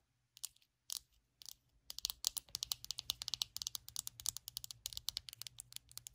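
Long acrylic nails tap the hollow back shell of a small glossy purple plastic detangling hairbrush lying on a blanket. A few scattered taps give way to a fast, steady run of crisp, bright clicks. Each click is dry and stops almost instantly.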